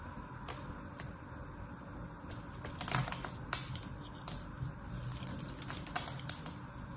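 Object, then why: Bar of soap cut with a small knife. A solid rectangular bar of soap with a gold diamond-pattern coating and pink interior is held in one hand and carved and scraped with a small knife blade, with flakes coming off. Dry, crisp crackles and sharp ticking clicks sound irregularly over a steady low rumble, with a few louder snaps partway through.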